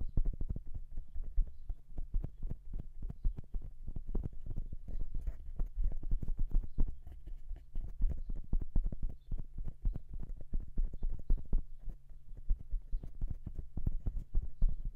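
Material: Metal.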